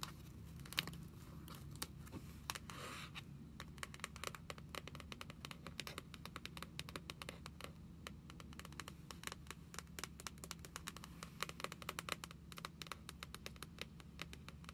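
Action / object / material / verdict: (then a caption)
tap / hardcover book with matte cover / cardboard / none. Long pink nails tap and scratch the cover of a small, closed hardcover book with a dark blue matte cover and a thick paper block, lying on a wooden table. Quiet, dry, clicky taps come in quick irregular bursts over a soft scratching rustle and a steady low hum. Each tap dies away almost instantly.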